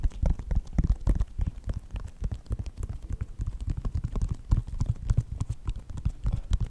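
Fingertips and nails tap the side and toe of a white Nike sneaker with a synthetic leather upper. The result is a rapid, irregular flurry of dull, low thumps with short crisp clicks that die away instantly, with no ring.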